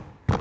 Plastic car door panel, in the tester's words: frapper rapidement le panneau de porte pour entendre ce qui vibre encore sur le panneau de porte